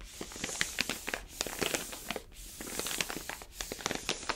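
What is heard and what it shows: An orange paper-foil coffee bag full of beans is held sideways while a palm rubs and presses along its surface. The result is a steady stream of bright, dry crinkles and crackles with sharp little snaps, broken by brief quiet pauses.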